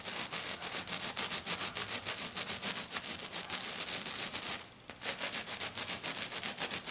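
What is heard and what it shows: Long dark nails of both hands rapidly scratch back and forth across a flat silver glitter sheet, probably glitter foam. The result is a bright, hissy, gritty rasp in quick rhythmic strokes with almost no low end. The strokes pause briefly just before the five-second mark, then resume at the same pace.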